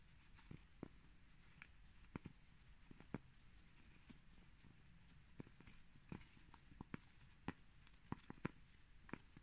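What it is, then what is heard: Cork plates tapped. Two cork plates are tapped, scratched, rubbed and bumped together, giving about 17 short, dull knocks that die away almost instantly. The knocks are scattered unevenly through a quiet, low rumbling background, with no voice.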